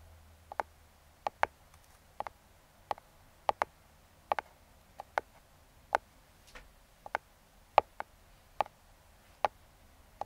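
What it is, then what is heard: Cardboard box tapped with hard fingertips. Metal claw fingertip picks tap rhythmically on the top of a small, closed, brown kraft cardboard box. Eighteen short, dry clicks land singly and in quick pairs over a quiet background. Each tap has a hollow midrange knock near 830 Hz and stops almost instantly.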